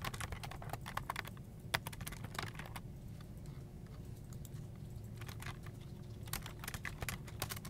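A full-size black plastic desktop keyboard with a hollow plastic body and keycaps is typed on continuously with the fingertips of both hands. Quick, bright clicks of the keys come in bursts with short pauses. Faint low vehicle noise rumbles in the background.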